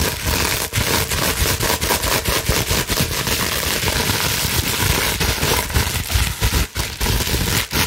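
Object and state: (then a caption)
Plastic bubble wrap being scratched. Long acrylic nails scratch fast across a large held-up sheet of clear plastic bubble wrap with air-filled bubbles. The result is a dense, continuous crackling and scraping with bright hiss and low rumbling thumps. The level stays steady except for a few brief dips.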